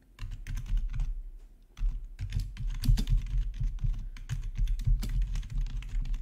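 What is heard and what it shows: Both hands type rapidly with their fingertips on a black plastic RGB backlit gaming keyboard. The result is a fast, uneven stream of short, dry key taps with a deep thumpy body and bright clicky edges. There is a brief lull just before the two-second mark.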